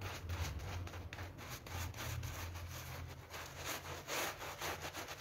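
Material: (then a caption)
PVC. A soapy pink PVC vinyl-coil loop door mat on a tiled floor is scrubbed with a hand brush held in a green rubber glove. Repeated back-and-forth strokes make a broadband rasping, bristly rub over a steady low hum.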